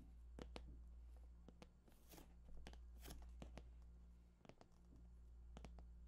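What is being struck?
Cardboard game console box.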